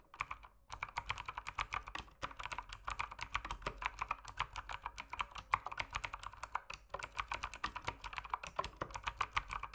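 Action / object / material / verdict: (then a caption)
tap / mechanical keyboard with plastic keycaps / plastic / none. Fast fingertip typing on an RGB mechanical keyboard with plastic keycaps produces a steady, rapid stream of short, crisp clacks. The keystrokes decay almost instantly, with a midrange body around 1 kHz and a bright click edge. There are only brief pauses near the start and around the seventh second.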